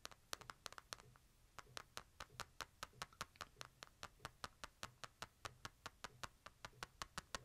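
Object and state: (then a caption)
Smartphone in plastic case. Fingertips tap the back and edges of a smartphone in a light plastic case, held sideways. Quick, dry, bright clicks with almost no ring come in an irregular cluster at first, then settle into a steady, even rhythm of dozens of taps over a faint low hum.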